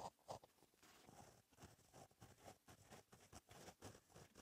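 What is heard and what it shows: A gel pen tip scratches across a flat, black lined notebook page while writing cursive. The strokes come as a quiet, irregular run of soft scratches and short bursts, with two sharper, brighter ticks near the start.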